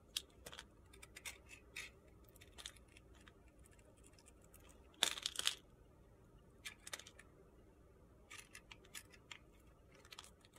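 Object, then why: Glitter soap bar. A metal blade shaves slivers off a thin remaining slab of white and purple glitter soap held in the fingers. It makes a series of quiet, crisp, high-pitched scraping crunches at an uneven pace, with a louder burst of shaving near the middle.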